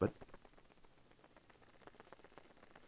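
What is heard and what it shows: A paper ball built from many polished layers is shaken, and its loose inner layers rattle: a soft knock at the start, then quiet, rapid ticking clicks. The layers came loose because each polished layer shrinks as it dries and detaches from the one beneath it.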